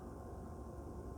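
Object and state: Nothing is struck.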